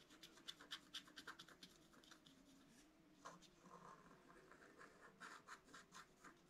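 A thin wooden stylus held in the fingers scratches lines into a flat, black-coated, A4-size scratch art card (a book page) lying on a table, while the other hand holds the card flat. A quick series of short, dry, bright scratching strokes is heard, with brief pauses between bursts. The sound stays quiet and close, with almost no low end.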